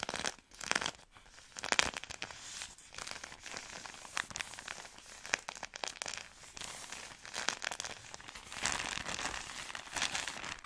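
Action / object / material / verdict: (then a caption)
scrape / soft plastic-film pack / plastic film / none. Long nails scratch and squeeze a soft plastic-film wrapped product pack, producing bright, crisp crinkling and crackling. Bursts of louder crackling swell and fade over a steady rustling texture throughout.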